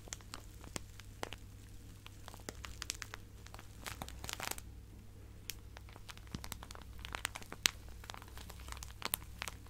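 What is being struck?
Plastic zip-lock bag with fabric scraps.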